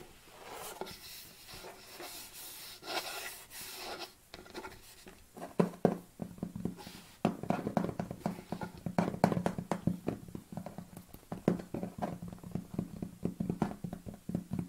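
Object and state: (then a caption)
Plastic tub tapped with fingernails. Long black-painted nails tap on the top of a large, hollow white plastic protein tub lying on its side with its lid on. After a few seconds of soft, breathy rustling, quick irregular taps begin and thicken into a dense run of short, hollow, low clicks with almost no ring.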